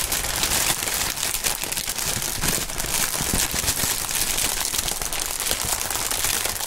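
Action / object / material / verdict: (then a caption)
scrape / thin plastic air-pillow packaging film / plastic film / none. Gloved hands crumple and rub clear, air-filled plastic air-pillow packaging film with green print. Throughout the clip there is a steady, dense, bright crinkling and crackling with no pauses and a thin low rumble underneath.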